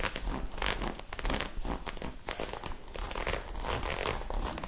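Long acrylic nails scratch and rub quickly at a soft magenta ribbed knit fabric garment held bunched in the hands. The result is a continuous stream of dry, crinkly scratching and rustling with rapid bursts of bright texture over a low, soft rumble of handled cloth.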